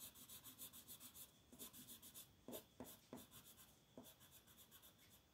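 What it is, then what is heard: Colored pencil shading on a paper coloring page. A purple colored pencil shades a flat paper coloring book page in quick, continuous short strokes while the other hand holds the page still. The result is a quiet, bright scratchy rubbing of pencil on paper, repeating at a brisk, uneven rhythm and broken by a few slightly firmer strokes.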